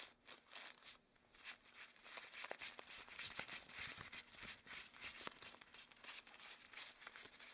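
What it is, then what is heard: Rubber gloves rubbed together. Long, thin, hollow cream rubber gloves worn on both hands are clasped, squeezed and rubbed together with interlaced fingers. The result is a quiet, steady run of bright rubbery squeaks, crinkles and soft rubbing sounds, with little low end and irregular short peaks throughout.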